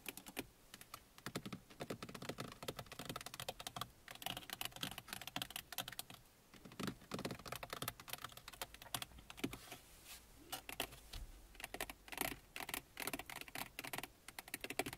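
Fingernails of both hands tap rapidly across the top of a car dashboard on the passenger side, a large, hollow, textured plastic panel. The taps are quick, light, and clicky, with a bright, dry tone that dies almost instantly. They run in a steady, dense patter for about fifteen seconds.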